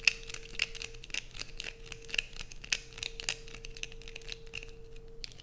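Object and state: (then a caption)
Bar of soap. Long nails repeatedly scrape curls off the top edge of a light-blue bar of soap held close up. The result is a rapid, uneven run of crisp, bright scratching and crinkly bursts, a few sharper than the rest, over a faint steady low hum.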